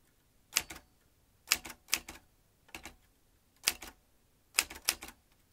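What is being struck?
Metal manual typewriter.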